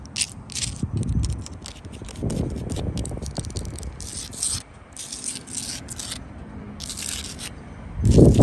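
Long blue acrylic nails scratch and tap the gritty surface of a solid wall of rough tan sandstone blocks with grey mortar. The sound is a dry, rasping scrape with a low rumbling body, broken by short bright clicks and ticks. It grows louder in a heavier scrape at the end.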